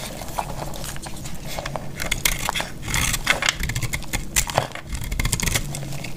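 A metal utility blade cuts through a solid, dried cream-colored bar of soap held in the hand, and crumbly, crisp chunks break off. Dry scraping and brittle crackling snaps come in quick bursts with bright edges over a steady low rumble, each crack dying away almost at once.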